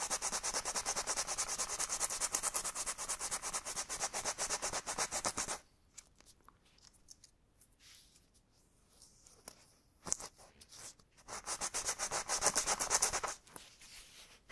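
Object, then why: Rubber bicycle inner tube. Sandpaper is rubbed back and forth across the surface of a hollow, deflated black rubber bicycle inner tube held in one hand on a cloth, while patching the tube. Fast, steady, bright scratchy rasping strokes run for about five seconds, then give way to near silence with faint handling ticks and a brief scrape. A second burst of sanding strokes follows before the clip fades to quiet rustling.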